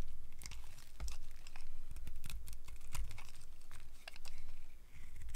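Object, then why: Bar of soap shaved with a blade. A solid, cream-colored rectangular bar of old, dry soap is held in the hand and shaved along its edge with a utility knife blade. The blade gives a rapid run of crisp, crunchy scrapes and sharp bright crackles over a faint low hum.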